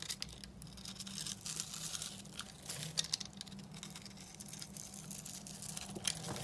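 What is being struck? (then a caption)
Bar of soap scraped with a blade. A steel utility knife blade scrapes across a hand-sized, dry, solid blue bar of soap with a scored grid surface, held in the palm. Dense, crisp, bright scratching and crunching continues throughout, with a few sharper crackles. A faint steady low hum sits underneath.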